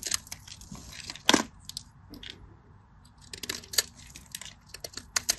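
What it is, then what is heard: Bar of soap being carved. A craft knife scrapes and carves a solid cream bar of soap with a cross-hatched surface, held in the hand, so flakes break off. Crisp, bright scraping and dry crackling clicks come in short bursts, with the loudest crunch early on.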